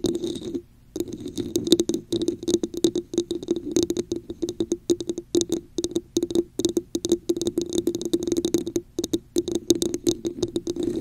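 Long acrylic nails rapidly tap and scratch a hollow red plastic cup with a raised diamond texture, placed upside down over a microphone. The result is a dense run of short, dry clicks with a hollow, boxy resonance around 340 Hz and a bright, scratchy edge, broken by a brief silence near the start.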